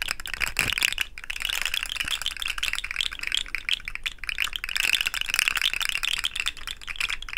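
A hollow, rainbow-colored segmented plastic fidget slug toy is dangled and shaken, then bent between both hands close to the mic so its segments rattle. The result is a dense, continuous run of bright, crisp plastic clicks and clatter centered around 2.7 kHz, with very little low end and only brief dips in the activity.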